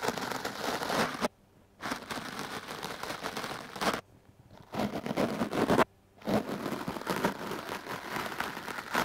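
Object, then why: Foam microphone windscreen and bristle brush. A hard-bristle wooden clothes brush is swept across a hand-held foam microphone windscreen, producing dense, crackly brushing and scratching across a broad range. The scraping comes in four bursts separated by three short silences.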